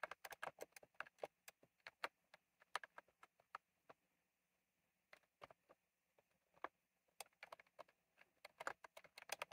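Fingertips type on a retro plastic mechanical keyboard with round plastic keycaps, producing quick, dry, bright clicks with almost no ring. Steady bursts of keystrokes give way to a near-silent pause, a few scattered presses, and then a fast, dense flurry of typing at the end.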